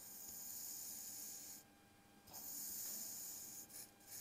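A metal kitchen knife slices and scrapes through a flat, crumbly layer of pink kinetic sand spread on a dark surface. Two bright, hissy granular scraping passes are heard, separated by a brief quieter gap. The second pass breaks into short crackly bursts near the end.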